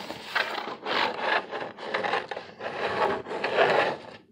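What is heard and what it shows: Fingernails scratch and tap the ribbed face of a large, flat, brown corrugated cardboard sheet held upright, thin with hollow flutes. Five dry, raspy scratching bursts follow one another with short pauses between them. The sound is mostly midrange with almost no low end.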